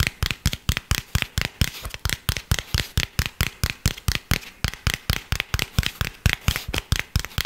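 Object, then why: Cork coaster. Fingernails scratch and tap across the face of a round tan cork coaster, a thin solid disc held close to the microphone. About 34 quick, dull taps come in an uneven run, each with a soft low thump and a bright scratchy edge that dies away almost instantly.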